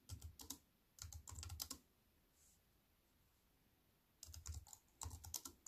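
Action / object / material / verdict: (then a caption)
tap / plastic keyboard keys / plastic / none. A compact wireless keyboard with black plastic keys on a grey metal-look frame, lying flat on a wooden table, is typed on with fingertips and long white-painted nails. Quick bursts of bright, crisp plastic clicks and taps over a soft low thud come in four short runs, separated by quiet pauses. Each tap dies away almost instantly.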